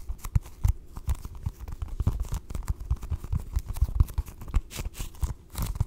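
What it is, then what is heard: Foam stress ball. A small, soft, solid orange foam stress ball printed like a basketball is held close to the mic and tapped and scratched with long acrylic nails. The result is a dense, irregular stream of dull, low, muffled thumps with short, soft scratching and crinkling textures between them.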